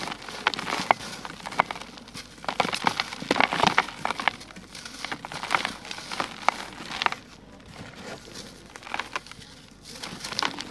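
Bare hands crush and crumble solid, dry grey sand-cement lumps in a plastic bucket, the grains falling onto the remaining lumps and loose powder. Crisp, gritty crackles and sharp crunches come in dense bursts with brief quieter pauses, bright and short with almost no low end.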